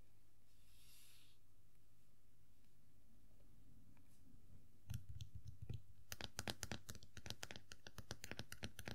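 A small hollow vinyl Funko POP figure of Tuxedo Mask, resting on a fabric surface, is tapped and scratched on its black top hat with long nails. After about five seconds of quiet low background hum, soft scratching gives way to a rapid, irregular series of sharp, bright clicking taps.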